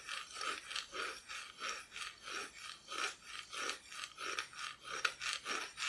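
Long nails scratch back and forth across the solid, unpainted back of a flat, thin plywood Christmas decoration cut-out. Steady, rhythmic rasping strokes each swell and fade, producing a dry, bright, hissing scrape concentrated above about 1 kHz with almost no low end.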